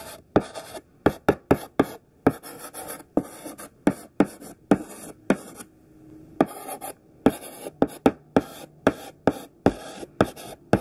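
A large solid pink stick of thick sidewalk chalk writes words on a black chalkboard in rough, scratchy strokes. About 25 short, sharp scrapes come in quick bursts, each a bright, gritty rasp that stops almost instantly. A brief quiet pause falls in the middle before the strokes continue.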